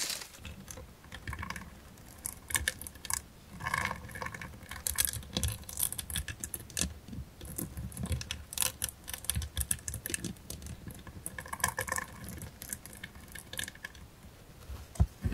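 Long manicured nails and fingertips tap and scratch the lid and edges of a small, hollow, closed rectangular metal jewelry box with a gold-tone frame, blue enamel panels and a raised gold rose ornament on the lid. The result is a quiet, steady patter of rapid, dry clicks and bright scratches with a soft low thump beneath. Each tap dies away almost instantly, with no ring.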